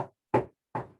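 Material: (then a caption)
Wood. A coin tap test on the wood of a wooden aircraft structure gives a quick series of short, hard knocks with a clear mid-range ring that dies away almost at once. The firm, solid sound shows the wood is sound and free of decay.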